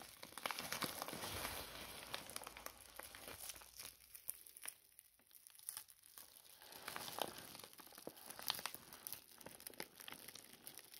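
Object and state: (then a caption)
Paper mailing envelope being crumpled and torn. A large, empty, crinkled white paper mailing envelope is held in both hands while its opening is pulled apart and the paper is crumpled and torn with the fingertips. Dense, bright crackling and crinkling with quick tearing snaps runs throughout, thinning out for a moment near the middle before building again.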